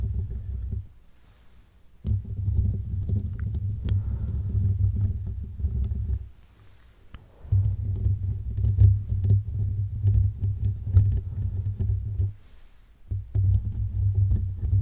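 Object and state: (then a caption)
Metal mesh microphone grille being scratched. Fingertips and short nails from both hands scratch and rub all over the silver metal mesh grille of a large, hollow microphone head. The result is a dense, deep, muffled rumble of scratching with a low pitch, heard in four stretches separated by three brief quiet pauses. The scratching is steady within each stretch.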